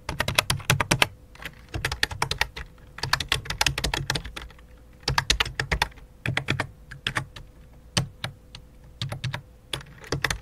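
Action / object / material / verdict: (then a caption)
tap / plastic computer keyboard / plastic / none. Fingertips type in quick bursts on a full-size white and light-blue plastic computer keyboard with a hollow plastic body. Dense runs of sharp, bright key clicks sit over a dull low thump, separated by short pauses, with a faint steady hum underneath.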